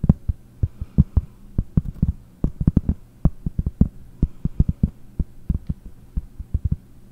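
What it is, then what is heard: Cork board. A round pressed-cork board held vertically before the microphone is tapped with fingertips and nails in quick, uneven runs of about thirty taps over seven seconds. Each tap is a short, dull, low thud that dies away almost instantly, over a faint steady low hum.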